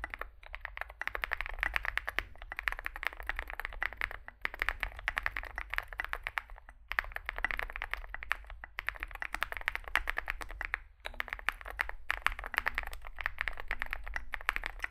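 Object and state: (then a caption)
Mechanical keyboard being typed on. Two hands type rapidly with their fingertips on a Zoom65 65% mechanical keyboard with a dark metal case, white and grey SA-profile plastic keycaps and lubed switches, resting on a desk mat. The result is a dense stream of short, crisp clacking key taps with a bright midrange ring, broken by brief pauses, over a low steady hum.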